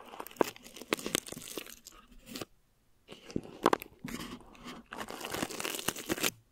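Clear plastic film stretched over a mesh microphone head is crinkled and scratched with long nails, then rubbed with a flat palm. Sharp, bright crackles and crunches come in quick bursts, with a brief silent pause midway before denser crinkling and scratching resumes. The film sounds close and dry, with almost no low end and no ring after each crackle.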